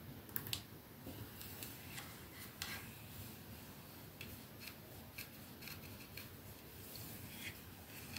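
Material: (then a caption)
Metal, glass. Fingertips and nails slowly tap and lightly rub across the silver metal sleeve of a capsule-shaped 212 perfume bottle with glass domed ends, lying on a dark surface. Soft, bright clicks with almost no ring are spaced out over a quiet, steady rubbing hiss.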